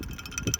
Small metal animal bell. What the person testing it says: Отърсете земята от нея и тя ще звънне!